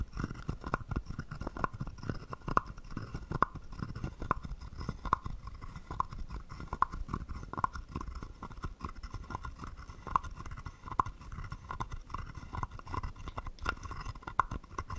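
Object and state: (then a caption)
Wooden frog guiro. A small hollow carved wooden frog guiro with a ridged back is played with a wooden stick that scrapes the ridges and knocks the body. Dense, soft scraping rattles run throughout, punctuated by sharper wooden taps recurring about every second, each with a brief hollow tone around 1 kHz that dies almost instantly.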